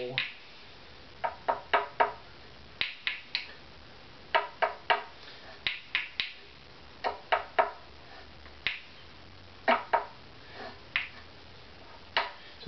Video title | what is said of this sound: Saddle Acoustical Tuning (Tap Tone), Opus #15 Violin | this is slightly low and it's lower